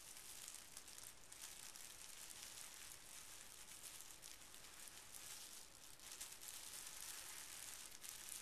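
Fingertips of both hands smooth and lightly scratch a small folded square of pink tissue paper resting on carpet. The result is a soft, continuous, bright crinkling rustle with faint scratchy texture that stays at a steady, quiet level throughout.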